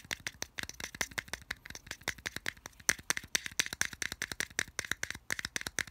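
Fingertips tap and scratch quickly on the flat printed back of a small, hollow white plastic earphone case held label side up in the palm. About 39 dry, sharp, bright clicks rattle out in a fast, uneven stream over six seconds, with almost no low end and no ring after each hit.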